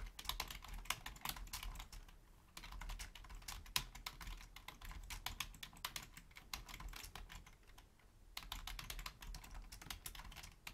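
Long painted nails and fingertips type rapidly on a black Logitech full-size plastic keyboard with a hollow shell, resting on a wooden desk. Dense, bright clicking key taps come in bursts, with quieter stretches around 2.5 and 8 seconds before the typing picks up again.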